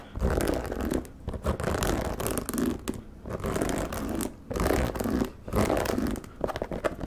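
Fingertips and nails tap and scratch the rubber sole and the side of the leather upper of a single white low-top sneaker, held hollow and empty in one hand close to the mic. The result is close, dense bursts of rasping, zipper-like scratching with a soft, hollow low-mid body, broken by brief quiet pauses between strokes.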